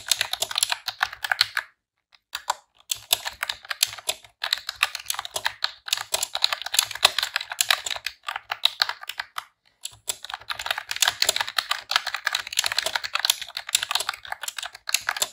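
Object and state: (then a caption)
Plastic computer keyboard being typed on. A pink retro-style plastic computer keyboard with round keycaps is typed on with long press-on nails and fingertips in rapid key presses. The result is a dense run of bright, dry plastic clicks and clacks, broken by a few short pauses.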